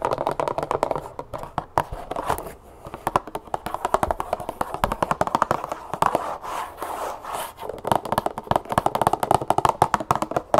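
A medium cardboard box of brown cane sugar, apparently full, is held in both hands and tapped and scratched with long acrylic nails. Rapid, dry, papery clicks with a hollow mid-range tone come in fast, uneven bursts, with soft scratching rasps between them. Each tap dies away almost instantly.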